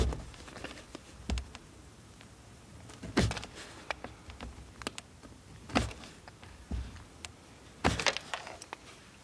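A steel multitool knife scrapes a solid blue bar of soap held in the hand above a pile of shavings. Short, crisp scraping strokes come in separate bursts, each with a bright, gritty edge over a soft low thud, with quiet gaps between.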